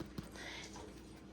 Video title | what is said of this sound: Pizza Bombs & Pizza Loaf From Scratch\Cheesy\Pepperoni-Sausage Filling\Freezer Friendly\Easy & Yummy | when you tap on it it kind of sounds Hollow